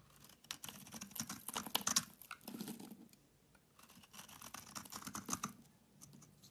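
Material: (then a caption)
Soap. A solid oval green Dalan bar soap, held in the hand, is shaved and scraped with a utility knife blade. Crisp, bright scraping and rasping strokes come in two busy bursts separated by a short quiet pause, with little low end.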